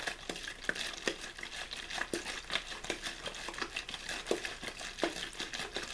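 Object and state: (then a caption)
Plastic water bottle being crinkled. An empty, hollow clear plastic water bottle with a blue label is squeezed and crinkled in one hand, giving a steady run of sharp, bright crackles and pops at an irregular pace. Each crack is short and dry, with little low end beneath the crisp rustle.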